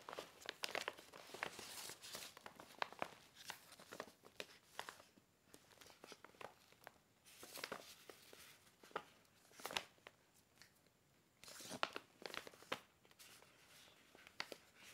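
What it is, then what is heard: Paper gift bag being handled. Fingertips grab, lift and open a small, empty red paper gift bag with white polka dots, with other bags piled nearby. The paper gives quiet, bright crinkling and rustling in bursts of sharp crackles, separated by short pauses.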